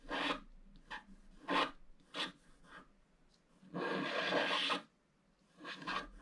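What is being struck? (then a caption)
Wax-coated scratch art card scratched with a wooden stylus. A wooden stylus scratches lines into the black wax-coated scratch art card lying flat, working on the lower right roof area. Five raspy, bright scraping strokes are heard, with the fourth a longer continuous scratch of about a second.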